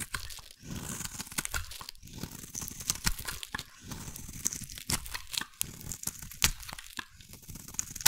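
A metal blade carves a solid, hand-sized bar of green soap into long shavings. Dry scraping and crunching strokes come one after another, with a bright, crisp texture and short sharp snaps as the shavings peel away.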